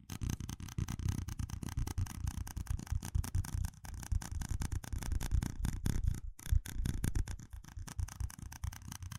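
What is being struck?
Small ribbed plastic cup.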